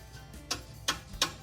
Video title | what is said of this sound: Scroll Saw | you'll hear it's very dull sounding and it's flexible you can move it very easily